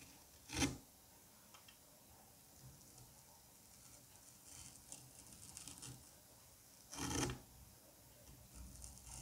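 A metal curette scrapes grooves into the ridged surface of a solid dome of green kinetic sand. Two louder, bright gritty rasps stand out near the start and end, with softer, quieter scraping strokes in between.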